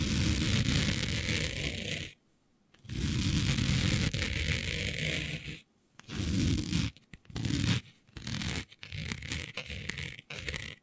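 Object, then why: Woven fabric sheet. Long natural-colored nails scratch across the weave of a flat sheet of dark, planet-printed fabric lying on a surface, using both hands. Dense, raspy scratching comes in long strokes at first, then shorter bursts, broken by brief silences. The scratching carries a full low texture under a bright, hissy top.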